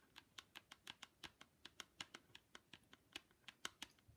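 Long pink nails tap and scratch the mirrored lens of plastic ski goggles with a grey frame edge. About 21 quiet, crisp, bright clicks come in a steady, quick patter, with faint scratchy texture between them. Each tap dies away almost instantly.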